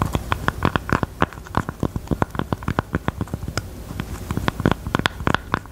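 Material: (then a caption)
Velvet. Long teal nails scratch and tap the top of a small, hollow, hot-pink velvet heart-shaped jewelry box. About thirty quick, soft, muffled taps land in an uneven patter over a faint scratchy hiss. Each tap has a dull, low hollow thump and dies away instantly with no ring.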